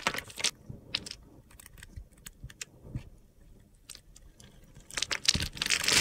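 A solid rectangular blue bar of soap held in the hand has its pre-scored surface cut and scraped into small cubes with a metal box cutter blade, and the crumbs fall onto a glitter surface. Quick, irregular bright crunches and gritty scraping snaps repeat, with denser, louder crumbling bursts at the start and end.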